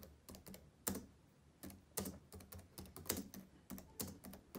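Fingertips of both hands type fast on the plastic keys of a black laptop keyboard. The result is quiet, irregular clicky taps with bright, short-lived attacks and a faint low thump beneath each keystroke.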